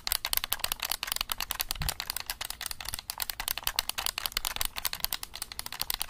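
A black plastic game controller is held close to the microphone while fingertips rapidly click its buttons. The result is a dense, fast stream of dry, bright plastic clicks that stop instantly with almost no ring, plus a brief low thump near the two-second mark.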